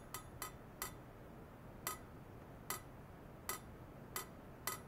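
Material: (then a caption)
Stainless steel. A hollow stainless steel pipe resting on white foam net supports is tapped by hand with a thin metal rod, with an ultrasonic oscillator setup attached by wires. Eight bright, short metallic clinks ring out at irregular intervals, each with a clear tone around 1.3 kHz and a quick decay. A faint, steady background noise runs underneath.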